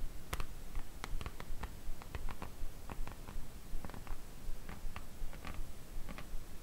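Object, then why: Printed cardboard slipcase holding books. Long nails tap and scratch along the top and edges of a printed cardboard slipcase holding a Harry Potter book collection. About fifteen light, dry taps come in a fairly steady rhythm, mixed with soft scratching and a low, muffled rumble underneath.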